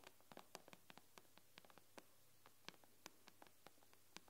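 Long nails tap on the black glass screen of an iPad with both hands, producing about twenty quiet, sharp, bright clicks in an irregular rhythm. Each tap stops instantly with no ring, set against a faint steady hiss.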